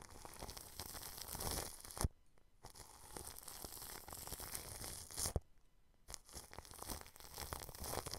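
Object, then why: Plastic cling film over a microphone grille. A paintbrush with blue bristles brushes and rubs against thin transparent plastic cling film stretched over a round white microphone head with a metal mesh grille. The result is dense, crinkly scratching and crackling with sharp snaps, broken by two brief near-silent pauses.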